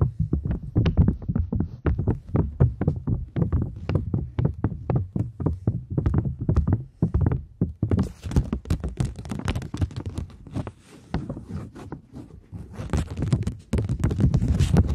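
A polymer £20 banknote, held in both hands, is scratched with long nails and crinkled. Quick, irregular tapping scratches with a dull, low-heavy body fill the first half. Around the midpoint the sound shifts into a denser, brighter crinkling rustle that runs to the end.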